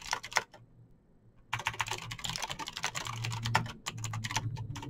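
Fingertips type fast on a Razer BlackWidow backlit plastic mechanical keyboard with clicky green switches, producing a rapid stream of sharp, bright clicks. A short burst of keystrokes is followed by a pause of about a second, then dense continuous typing resumes over a low steady hum.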